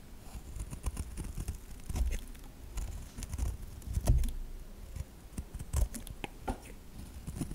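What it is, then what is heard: Bar of soap scraped with a knife. A metal knife blade scrapes and carves shavings off the edge of a solid white bar of soap held upright. Quiet, dry scraping and crisp little cuts come in a rapid, uneven patter, with a few heavier low thumps standing out along the way.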